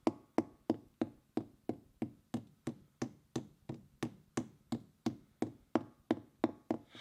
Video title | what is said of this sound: Curtis Cab Long Term Review and Winterizing Equipment | It definitely sounds like it's hollow up here